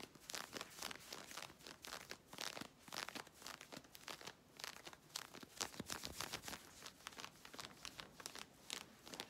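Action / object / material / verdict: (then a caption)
scrape / synthetic stretch fabric / synthetic fabric / none. Long red nails scratch quickly along worn navy stretch leggings, rasping across the smooth synthetic fabric near the waist and hip seam. A fast, continuous run of bright, crinkly scratching strokes rises and falls in quick bursts, with almost no low end.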